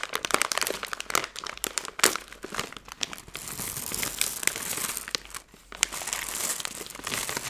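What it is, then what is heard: Plastic candy bag crinkled. A hand-sized Skittles candy bag made of plastic film is flexed and crinkled with fingertips and long nails. It gives a dense, bright crackling with sharp, quick snaps and almost no low end, swelling and easing throughout.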